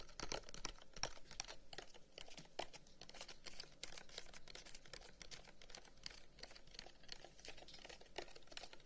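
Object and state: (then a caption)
Carved wooden incense box. Fingertips tap rapidly along the lid of a long, hollow carved wooden incense box with a pierced flower pattern, held close up. The result is a quick, dense patter of dry, bright clicks that die away almost instantly over a faint, steady low background.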